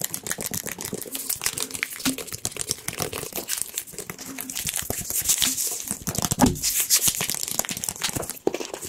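A small, hollow yellow plastic squeeze bottle with a pointed nozzle cap is held in the hands and rapidly tapped and scratched with the fingertips and nails. The result is a dense, continuous stream of bright, crinkly clicks and scrapes over a soft hollow knock, with each tap dying away almost instantly.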